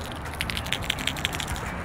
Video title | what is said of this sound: South Florida Bank Fishing w/ the YO-ZURI Pencil Popper | the harder i snap the wrist then it starts to spit it does have some rattles inside so you do hear it